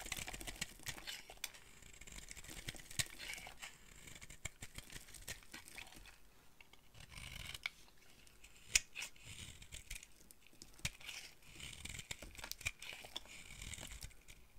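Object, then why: Bar of soap cut with a small blade. A dry, solid rectangular red bar of soap is held in the hand and carved with a small utility blade, peeling off flakes. Quiet, bright scraping and crumbly shaving sounds repeat throughout, punctuated by sharp clicks and short, dry cuts centered around 2.5 kHz.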